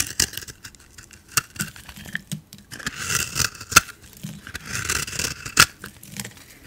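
A hand-sized solid bar of soap, cream with a lilac-blue coating and a raised dot pattern, is held in one hand and scraped and carved with a metal utility blade. Bright, dry scraping strokes alternate with sharp, crisp cracks as pieces break away, with longer rasping passes in the middle and near the end.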